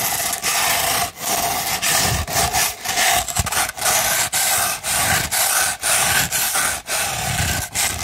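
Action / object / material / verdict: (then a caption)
scrape / rolled sandpaper sheet scratched with fingernails / sandpaper / none. A sandpaper sheet rolled into a tube is scratched with the long nails of both hands. It makes a continuous, bright, gritty rasping in a series of long, uneven strokes, each broken by brief dips between passes.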